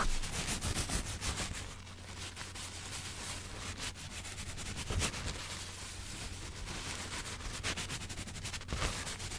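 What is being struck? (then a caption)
Thin paper sheet. A thin white sheet of paper, possibly tissue, is held in both hands close to a microphone while fingertips rub and crumple it. Dry rustling and crinkling runs throughout, with brighter crackly bursts over a steady low hum.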